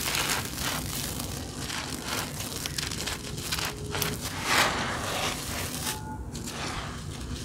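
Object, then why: Clumps of powdery grey grit. Bare hands with red-painted nails pick up compacted clumps from a loose layer of fine grey powdery grit spread on a floor, squeezing them until they break, rubbing them and letting them crumble; the material looks like dry cement or dirt dust. A steady, bright crunching and gritty crackling runs throughout, with a sharper, louder crunch a little past the middle as a clump gives way.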